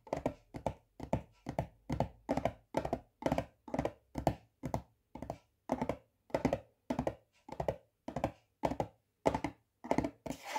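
Fingertips and nails tap on the lid of a yellow plastic butter spread tub. Short, thunky taps come in steady pairs and small clusters, with a hollow midrange tone and quick decay.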